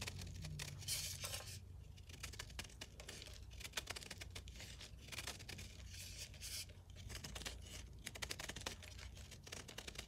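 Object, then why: Gym chalk block (magnesium carbonate). A ceramic knife scrapes and shaves flakes off a hand-held, roughly palm-sized block of solid dyed gym chalk (magnesium carbonate), letting the flakes pile up beside it. The sound is a steady run of dense, dry, bright scratching and crisp tearing strokes over a faint low hum, with each short stroke ending almost at once.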